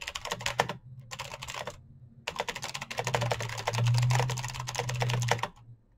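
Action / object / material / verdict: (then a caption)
tap / plastic mechanical keyboard / plastic / none. Fingertips type fast on a full-size black plastic Razer mechanical keyboard with clicky green switches and RGB backlight. Dense bursts of sharp, bright clicks come in two short runs, then a longer stretch. A steady low hum sits underneath throughout.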